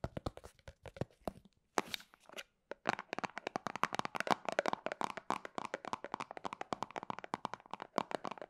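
A small, round, white plastic cosmetic cream jar with a printed label, apparently filled and lidded, is held in both hands and tapped and scratched with long painted fingernails. Dry, crisp clicks and scratchy taps come in quick bursts with two brief pauses early on, then settle into a dense, continuous run of fast, bright tapping. Each tap dies out almost instantly, with little low end.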